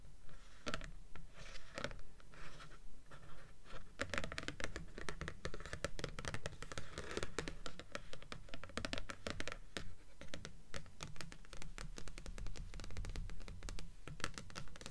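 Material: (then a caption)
Paper. Long fingernails scratch the glossy cardstock cover of the top book, "Delirium", on a stack of solid paperback books resting on a table, with the hands staying on the book throughout. A steady run of short, dry scratching strokes repeats at a fairly regular pace, about two per second, over a low, soft rumble, with each stroke dying away almost at once.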